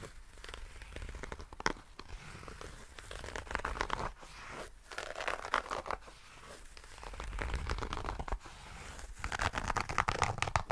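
A small, hollow nail clipper case with a zipper, covered in grey herringbone tweed fabric, is scratched and rubbed with fingertips and nails close to the mic. The result is a dense, irregular stream of crinkly, rustling scratches with a low rumble beneath, swelling and fading in bursts over about ten seconds.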